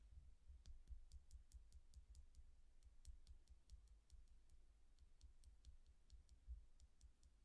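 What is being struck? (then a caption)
Quartz crystal pendant. Long dark-painted nails tap and click along a small, solid clear quartz point pendant set with a row of colored chakra stones, hanging on a chain and held in one hand. A quiet, steady stream of quick, bright, dry ticks rings only briefly over a low, soft rumble.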